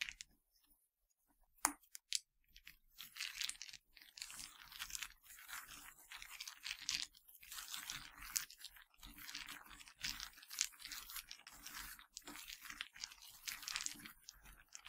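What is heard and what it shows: A pile of broken pretzel sticks with a white yogurt coating on a black surface is crushed, snapped and swept by fingers with dark nails. After a near-silent start, a couple of sharp snaps ring out, then dense, bright crunching and crackling with little low end carries on to the end.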